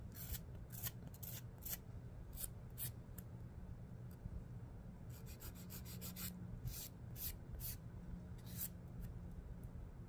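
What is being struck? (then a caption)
Emery board nail file. Fingertip nails are filed along the gritty edge of a long emery board nail file held upright. Short, bright scratchy rasps come in quick bursts over a steady low hum.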